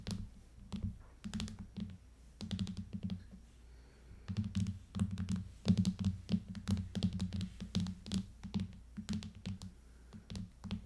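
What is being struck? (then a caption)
Hard plastic tablet case over aluminium tablet back. Long fingernails tap rapidly in irregular bursts on the back of an aluminium iPad fitted with a clear hard plastic case. Each tap is a short, dull clicking thunk, mostly low with a tone near 180 Hz and a faint bright tick, dying away almost instantly.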